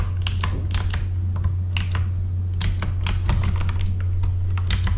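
Both hands type with their fingertips on a full-size backlit mechanical computer keyboard with plastic keycaps. The keys give a quick run of short, bright clacks in an irregular rhythm over a steady low hum.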